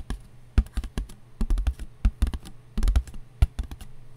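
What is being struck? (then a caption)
Paper plate. A paper plate is tapped with the fingers in quick, uneven bursts. The taps are dull and papery, with most of their weight in the low end and almost no ring after each one.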